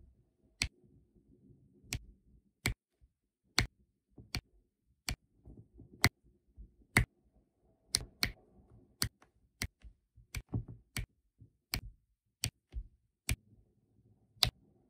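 A plastic drill pen picks up small round resin drills and taps them down onto a flat, sticky adhesive diamond painting canvas in quick repeated presses. Each press makes a sharp, bright, very short tick over a faint low rustle, spaced irregularly throughout.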